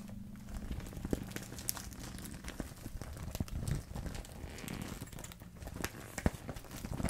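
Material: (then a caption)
Plastic. A small transparent vinyl zipper pouch full of paint and marker tubes is held in both hands and squeezed and shaken with long red-painted nails and fingertips. It makes soft, dense crinkling and rattling with brief brighter clicks and taps over a low, steady hum.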